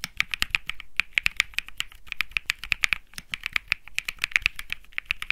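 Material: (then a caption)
Plastic. Fingertips type steadily on a compact Think 6.5 mechanical keyboard with Bsun Lollipop switches, an aluminum case, a PC plate and plastic keycaps. A quick, even stream of sharp, bright clacks centered around 2 kHz rings out, each dying away almost instantly with little low end.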